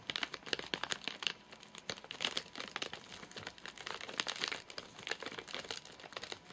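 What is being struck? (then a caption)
Nougat bar in plastic wrapper. Fingertips and short nails tap and scratch the top of a full, flat rectangular Soft Nougat bar in a crinkly plastic wrapper with crimped ends. The result is a quiet, bright crinkling made of rapid, dry crackles and little ticks, with almost no low end.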